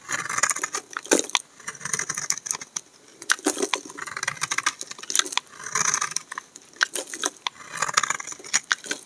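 A hand-sized solid tan bar of dry soap with an embossed star is held in the hand and scraped and shaved with a utility knife blade, and the shavings fall off. Many short, crisp, bright scraping and crackling strokes come in quick bursts, with brief quieter pauses between runs.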